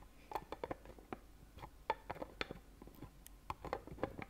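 Fingernails tap the lid of a small, clear, rigid plastic Ferrero Rocher box filled with gold-foil-wrapped chocolates, held in one hand. About sixteen quick, irregular clicky taps have a hollow plastic tone near 880 Hz and die away almost instantly, over a quiet background.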